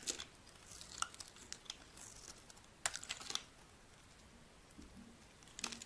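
A solid white, rectangular bar of dry soap is held in the hand and shaved with a metal blade into long strips. The shaving gives quiet, crisp scraping and crackling with sharp, bright clicks and little low end, coming in irregular bursts separated by near silence.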